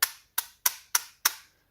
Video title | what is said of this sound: The Best Blade On an OTF EVER?? - Benchmade Shootout Review | I think it's just a spring or something maybe the blade rattling around slightly